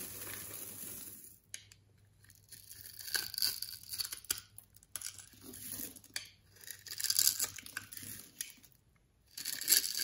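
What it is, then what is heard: Bar of soap being cut. A solid, palm-sized orange-beige bar of soap embossed "NEFIS" is held in one hand while an orange-handled box-cutter blade scores a grid into its face. Dry, bright scraping and crisp cutting bursts rise and fall with short pauses as small cubes crumble off.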